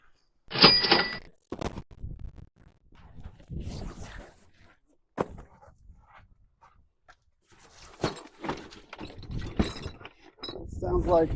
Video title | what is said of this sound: Hidden JEWELRY, Expensive TOOLS & More in This STORAGE UNIT! | That sounds like glass. And it is.